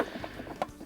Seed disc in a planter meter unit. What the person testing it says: if it's tapping like that you know your disc is too loose so you have to adjust it